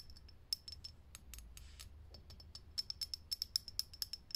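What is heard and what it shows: Long fingernails tap quickly on a lit, hollow, clear glass vintage filament light bulb. Each tap is a sharp, bright glassy click with a brief high ring that dies away almost at once. The clicks come in an uneven run, sparse and soft at first and then louder and more frequent toward the end.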